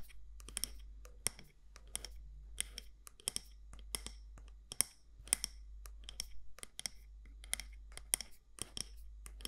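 Long nails tap and scratch the side walls of a medium matte black candle jar, glass or ceramic, with a gold lid. The result is a quick, irregular run of sharp, bright clicks with brief scratchy strokes between them, each tap dying away almost instantly. A steady low hum sits underneath.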